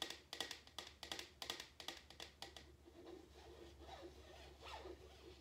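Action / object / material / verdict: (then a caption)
tap / paper cup / paper / none. An empty printed paper drink cup held in the hand is tapped with fingertips and nails on its side and bottom. A quick series of sharp, bright, hollow taps comes first, then softer, rustling taps and scratches.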